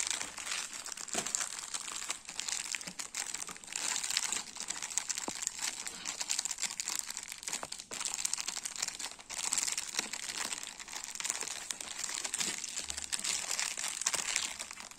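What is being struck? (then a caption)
Roll of round crackers in thin plastic film. A full cylindrical roll of round crackers wrapped in clear plastic film is rubbed, scratched and squeezed with fingertips and nails. Continuous bright crinkling and crackling of the plastic is heard, with many quick rustling bursts throughout.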